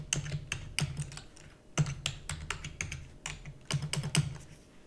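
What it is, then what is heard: Plastic computer keyboard. Fingertips with long natural nails rapidly type on a black full-size plastic computer keyboard with hollow key housing. The result is a quick, uneven run of sharp clacky keystrokes, each with a hollow low thump under a bright click that dies away almost instantly, with a few louder key presses standing out.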